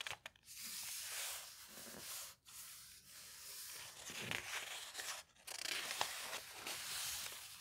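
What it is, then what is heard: Old magazine paper pages. Fingertips and nails rub and smooth a full-page advert on the aged paper pages of a large, thick hardcover bound volume of a vintage magazine lying open, then lift a page corner to turn it. The sound is a steady, bright, dry papery rustle and scratch with a few brief pauses, ending in a crisp crinkling page turn.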